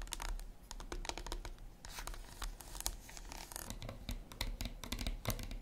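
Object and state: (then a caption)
Dark chocolate bar. Long acrylic nails tap rapidly on an unwrapped solid dark chocolate bar lying on its plastic wrapper on a wooden table. The taps come as short, dry, bright clicks with faint crinkling from the wrapper, over a steady low hum. Each tap dies away almost instantly.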